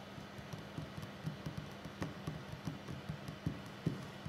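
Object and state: Wooden table.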